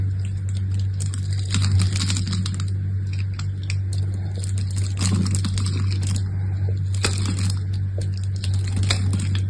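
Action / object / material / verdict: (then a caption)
scrape / bar of soap scraped with a knife blade / soap / none. A hand-sized, solid brown-and-cream striped bar of soap, held in one hand, is carved and scraped with an orange-handled utility knife blade, with the shavings piling onto a cloth. Dry, crisp scraping and crackly cutting sounds with bright edges come in irregular bursts over a steady low hum that runs throughout.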